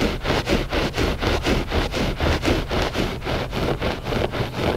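Short fingernails scratch the pile of a flat gray loop-pile textile rug, solid and soft. A steady, rhythmic rustling scrape repeats about four times per second, with broad noisy texture over a low rumble and little high brightness.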